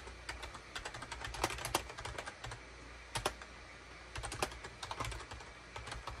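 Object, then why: Plastic computer keyboard. Fingertips type rapidly on a full-size gray and cream SHIPADOO K600 wired USB keyboard with a hollow plastic case and plastic keycaps, resting on a desk mat. Bursts of quick, bright, hollow plastic clacks come in runs with brief pauses, and a faint steady low hum sits underneath.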